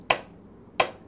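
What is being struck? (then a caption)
Wooden piano case. Two short, crisp knocks on the wooden body of a piano, marking the second and third beats of a count. Each knock is a bright, dry click with a quick decay and almost no low end, separated by a brief quiet gap.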